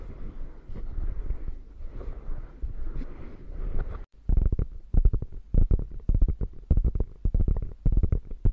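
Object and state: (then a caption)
Quilted faux leather bag. Fingertips and long nails rub and scratch over the padded top of a beige quilted faux leather bag. A steady, muffled rubbing fills the first four seconds, then after a brief pause gives way to quick, irregular scratching bursts. The sound stays dull and low, with almost no bright content.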